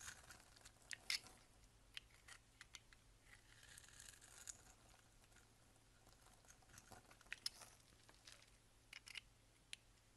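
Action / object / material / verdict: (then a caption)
scrape / bar of soap scraped with a box-cutter blade / soap / none. A solid peach bar soap held in hand is scraped and shaved across its surface with a box-cutter blade. The result is a quiet run of soft, crumbly scraping and crisp, bright snaps of shavings with little low end. The loudness trace shows several distinct sharp clicks standing out from the steady rasp.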